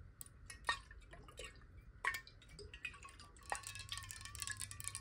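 Long nails tap quickly along the side of a clear glass water bottle with a neck, hollow and partly filled with water, held horizontally in both hands. Bright, uneven glassy clicks ring briefly with a chime-like tone around 1.8 kHz, a few sharper taps standing out. Faint water sloshing shifts inside the bottle beneath them.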